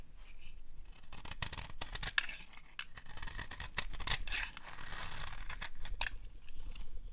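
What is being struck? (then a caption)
Soap bar. A palm-sized, solid, dry orange soap bar is held in the hand and scraped with a metal blade. Short, dry scraping strokes come one after another, with crisp bright snaps at the sharpest cuts over a soft, low rustle.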